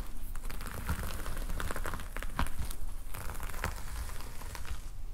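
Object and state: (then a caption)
Plastic sequin cover being scratched. Fingertips of both hands scratch and rub the red and black plastic sequin fabric cover of a closed notepad lying flat. The result is a steady, dense crinkling and crackling, with quick clicky sequin flicks over a low rumble and no pauses.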